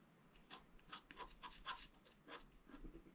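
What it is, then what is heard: Scratch art card being scratched. A thin wooden stylus held in the right hand scratches lines into the coating of a flat, black-coated scratch art card about A4 size, a solid sheet lying on a table and held still by the left hand. About eight short, dry, raspy scratches come in quick bursts, with a bright hiss and a faint tone around 1 kHz, over a quiet low hum.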